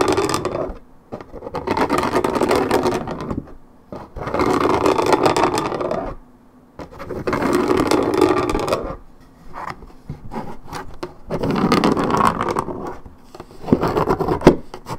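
Long red nails scratch along the coated cardboard top of a 1.75 L Minute Maid paperboard orange juice carton. Several-second passages of dry, rasping scratching rise and fade, separated by short pauses of near silence, with a midrange body and a little bright grit.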